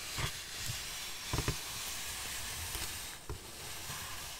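Long black fingernails scratch and rub a large solid styrofoam packaging block with molded ridges. A steady, bright, hissing scrape runs throughout, broken by a few short, sharper squeaky bursts with a low thump underneath.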